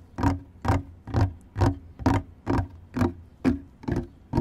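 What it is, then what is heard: Wooden deck boards. Fingertips and nails of both hands scratch and rub large, solid outdoor wooden decking planks, a fixed floor surface, around a microphone laid on the boards. The result is a steady run of brushing scrape strokes at roughly two per second. Each is a short burst with a low, hollow body and a brief bright hiss that dies away quickly.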